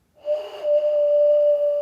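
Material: Nothing is struck.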